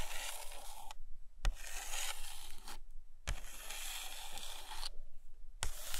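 Long nails tap on and trace along the glossy paper pages of an open hardcover photo book lying on a carpet. Bright, scratchy scraping strokes come in bursts separated by brief pauses, punctuated by a couple of sharp, dry taps.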